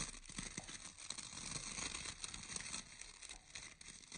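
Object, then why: Round bristle hair brush with wooden core. Fingertips and nails scratch and pluck the bristles of a round bristle hair brush with a visible orange wooden core. The result is a quiet, steady, bright crackling texture, dense with short rustles and ticks and a few soft low taps underneath.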